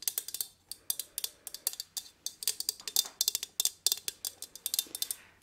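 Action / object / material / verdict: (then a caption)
tap / small thin metal plant pot / metal / none. Long nails tap and knock on the metal sides of a small gold metal plant pot holding an artificial pine plant, held in one hand. A quick, irregular run of crisp, bright ticks, each dying away almost instantly, with nothing in the low end.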